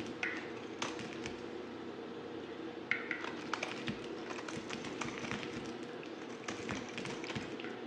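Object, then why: Solid bar of soap cut with a knife blade. A solid white bar of soap, now mostly plain, is held in the hand and cut and scraped with a yellow utility knife blade. Soft, crisp scraping runs throughout, dotted with brief bright ticks and clicks as the blade bites and shaves, over a steady low background hum.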